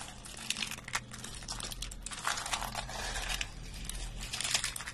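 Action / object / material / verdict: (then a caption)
shake / green soap flakes / soap / none. A pile of thin, brittle, dry green soap flakes is grabbed, squeezed and crumbled by fingertips and hands, crushing and rubbing them together. The result is a continuous stream of dense, bright crinkling and crunching crackles with many sharp little snaps, over a faint low hum.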